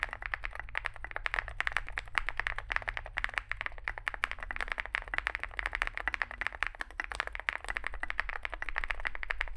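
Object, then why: Mechanical keyboard with plastic keycaps. Fingertips type continuously on a small Zoom65 65% mechanical keyboard with a dark case and white and grey plastic keycaps. A rapid, steady stream of short, sharp clacks centred around 2 kHz, with bright edges, sits over a constant low rumble.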